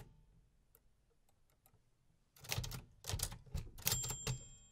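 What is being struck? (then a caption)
Metal manual typewriter keys. Fingertips type on the round keys of a vintage 1950s metal manual typewriter. After about two seconds of near-silence with faint light ticks, about six sharp, bright mechanical clacks strike in an irregular rhythm, and a thin high metallic ring lingers after the last ones.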